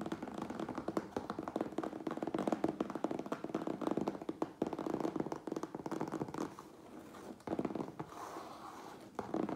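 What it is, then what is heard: Closed cardboard box, hollow. Fingertips and nails tap rapidly on the sides of a medium, closed cardboard Priority Mail box with contents inside. The result is a steady stream of dry, hollow taps with a low-mid thump and very short decay, broken by brief pauses before the tapping resumes.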